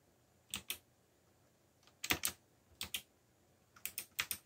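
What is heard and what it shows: Fingertips press the keys of a backlit black plastic mechanical keyboard while typing. Short, bright clacks come in quick pairs and small clusters with pauses between them. Each click dies away almost instantly over a quiet background.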